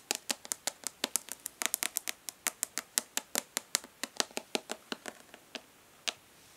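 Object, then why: Plastic makeup palette. Long nails tap and lightly scratch the embossed lid of a hollow plastic makeup palette held upright in one hand. About 33 fast, crisp clicks sound with almost no ring, bright and high with nothing in the low end. The taps come in a steady, gentle patter that thins out toward the end, with one last isolated tap.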